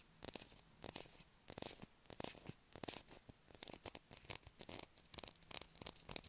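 Long acrylic nails scratch and scrape across the surface of a solid blue bar of soap held in the hands. Quick, quiet, bright scratching strokes come in short bursts with brief pauses between them, and each stroke ends sharply with no ring.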